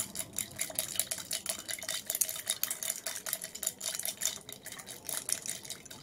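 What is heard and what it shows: A tall clear glass tumbler holding ice and a purple-tinted clear liquid rests on a white plate and is held in both hands while long red nails tap and scratch it and the ice is swirled and shaken. Dense, bright clinks and rattles of ice against glass overlap with quick taps and scratchy rubbing, with very little low end. The short, high ringing hits run continuously, too close to separate.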